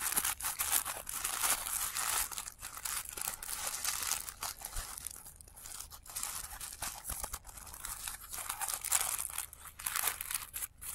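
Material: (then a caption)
Paper. Fingertips crinkle and fold the thin petals of a blue tissue paper flower resting on black cloth, played in reverse. The result is a steady run of soft, bright, crackling rustles with little low end, swelling and easing in loudness throughout.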